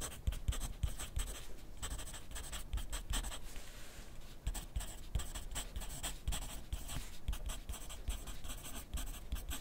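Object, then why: Graphite pencil on paper sheet clipped to a clipboard. A wooden graphite pencil is drawn across a thin grid paper sheet clipped to a flat clipboard on a desk while writing. Dry, scratchy strokes come in quick bursts with bright hiss, along with soft low taps from the clipboard and short pauses between words.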